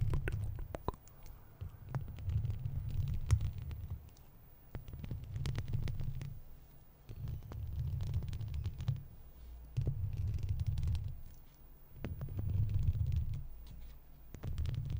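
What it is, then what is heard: Metal mesh microphone grille scratched with plastic nails. Long red-tipped plastic fake claws on the fingers scratch and tap a wire-mesh metal microphone head. The result is a muffled, deep rumbling thump that swells and fades in repeated bursts, scattered with sharp, bright scratchy clicks.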